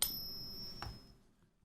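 A counterfeit Morgan silver dollar, resting on a pocket pinger, is tapped once and gives a short, thin, high ring with steady tones that fade within about a second. Its resonance frequencies are way off for a real coin, so it fails the ping test and is confirmed fake.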